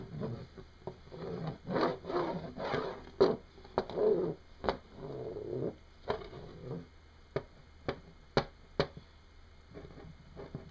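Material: Hematite.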